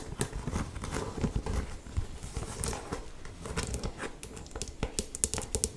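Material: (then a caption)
Leather. An old, worn, empty brown leather walking boot held in the hand is scratched and tapped with long painted nails along its upper and sole. A steady run of quick, dull, hollow taps mixes with dry scratching and crinkly rustles, each tap dying away almost at once.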